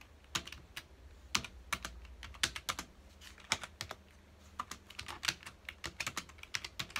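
A full-size black plastic computer keyboard on a dark desk is typed on rapidly with the fingertips of both hands. A fast, irregular stream of sharp, bright key clicks and taps cuts off almost instantly, with a faint low hum underneath.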